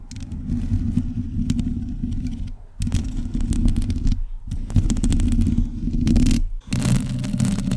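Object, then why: Metal mesh microphone grille. Long decorated nails scratch across the bare, hollow metal mesh head of an uncovered microphone, giving a dense, low, rumbling scrape layered with fine crackling clicks. The scratching runs in continuous bursts separated by brief pauses.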